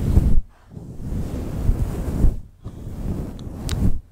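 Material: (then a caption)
Faux fur. Long pointed nails scratch and fingers stroke a fluffy grey-white faux fur windscreen on a black microphone. It produces deep, muffled, rumbling rustles in loud bursts separated by brief near-silent pauses, with almost all the energy low and a few faint brighter ticks near the end.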